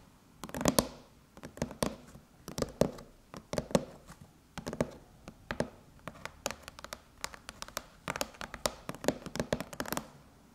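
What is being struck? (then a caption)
Aluminum laptop lid. Long chrome nails on both hands scratch and tap a closed silver aluminum MacBook lid beside the logo. Quick bursts of sharp, dry clicks with brief metallic scraping come in clusters roughly every second. Each tap stops almost at once with no lingering ring.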